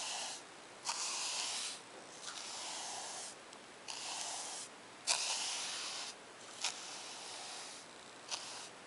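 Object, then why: Paper notebook page. A bristle paint brush is stroked back and forth across a lined page of a spiral-bound paper notebook resting on a wooden table. Six dry, bright, hissing strokes are heard, each starting with a soft scratchy catch and separated by brief quieter pauses.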